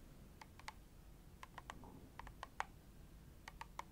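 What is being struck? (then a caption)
Plastic cream tube tapped with fingernails. Long nails tap rapidly on the front and back of a filled red plastic cream tube. About thirteen sharp, short clicks are heard in uneven bursts, each with a mid-pitched knock and a bright edge, over a quiet low hum.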